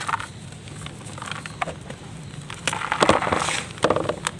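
Bare fingers with painted nails crumble and rub pieces off a large solid block of dry red mud sitting in loose red dust in a white plastic tub. Short, dry crackling crunches and gritty rubbing come in uneven bursts, growing denser and louder toward the end, with no ring after each snap.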